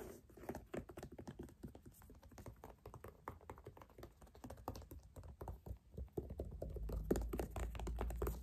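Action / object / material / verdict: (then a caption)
tap / synthetic leather sneaker upper / synthetic leather / none. A single empty white Puma low-top sneaker with a synthetic leather upper and white laces is held in hand while fingernails and fingertips scratch and tap across the upper. Quick, irregular, muffled taps and soft scratchy strokes patter along at about three to four per second, dull and low with little brightness. The tapping grows slightly louder and fuller in the last few seconds.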